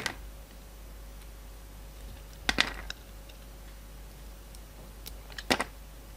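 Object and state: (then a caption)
Soap bar being cut. A solid purple soap bar held in hand is trimmed and shaved with a utility knife blade. Brief, crisp scraping cuts come in small clusters near the start, middle and end, bright with little low end and no ring. A quiet, steady background hiss and faint hum continue between them.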